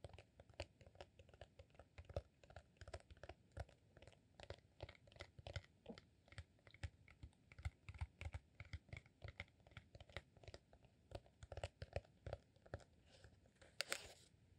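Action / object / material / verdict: tap / rolled beeswax sheet candle / beeswax / none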